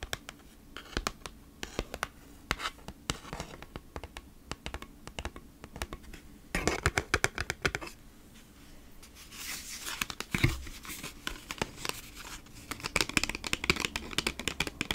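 Long nails scratch and tap across a thin kraft cardboard food-wrap packaging sleeve, first on the front side and then the back. Dry, bright scratching rasps mix with many quick, sharp taps that die away instantly, with denser, louder bursts of scratching partway through.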